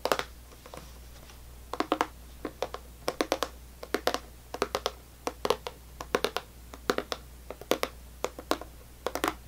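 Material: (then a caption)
Plastic. Long natural nails tap and scratch across the lid of a full, rectangular clear plastic tub of strawberry sour belt candy with a printed label, steadied with one hand on a white table. Quick, sharp plastic clicks come in irregular bursts, with bright, crisp edges and almost no ring, over a faint low hum.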